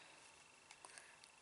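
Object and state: Nothing is struck.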